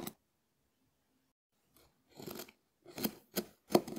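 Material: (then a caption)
Konjac. A hand-sized, scallop-shell-shaped, hard dried konjac sponge with a porous ribbed surface is held in the fingers and scratched with the bowl of a small wooden spoon. Short, dry scraping rasps come in quiet bursts, with a brief scrape at the start and a cluster of crisp strokes toward the end.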